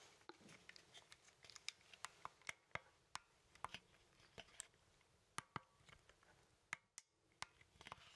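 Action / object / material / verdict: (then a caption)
tap / plastic handheld game controller / plastic / none. A hollow plastic Nintendo Joy-Con controller, with the Joy-Cons attached to a grip and held in both hands, has its buttons clicked and its casing tapped with fingertips. The result is a quiet, irregular run of sharp, dry, bright clicks and taps that stop almost instantly, over a faint hiss.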